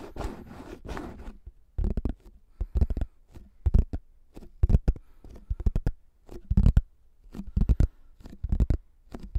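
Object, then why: Thin plastic flying disc. A pink plastic frisbee with a face print and a thin hollow shell is slowly scratched and tapped across its top surface with fingertips and short nails. It makes dry, irregular scratching strokes and soft low taps in short bursts, with a denser stretch of scratching at the start.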